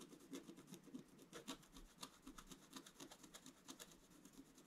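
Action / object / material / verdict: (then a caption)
scrape / black-coated scratch art card scratched with a wooden stylus / coated card / none. A wooden stylus scratches continuously across the upper-middle area of a flat scratch art sheet, a black coating over metallic card. Quiet, dry rasping strokes repeat in a quick, uneven rhythm, with a low scratchy body and brief bright flecks on each stroke.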